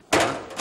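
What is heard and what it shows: A new metal kitchen sink with a structured surface is knocked twice, giving a dull, damped knock with a mid tone around 676 Hz that fades over about a quarter second before a second, softer knock. The structured metal surface absorbs the impact, so the sound is duller and less musical than a normal sink.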